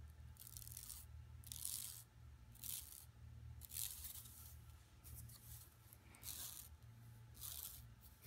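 Long nails scratch and fingers rub across the printed surface of an empty, flat yellow woven plastic mesh tote bag lying on carpet. Repeated bursts of bright, raspy scratching rise and fall over a steady low hum.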